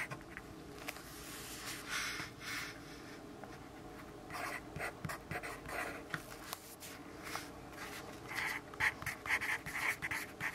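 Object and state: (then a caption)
Pencil writing on a paper notepad. A yellow graphite pencil writes in small strokes on a lined paper notepad held by the left hand on a wooden desk. Soft, bright scratching bursts come at an uneven pace, growing louder and sharper toward the end, over a quiet steady hum.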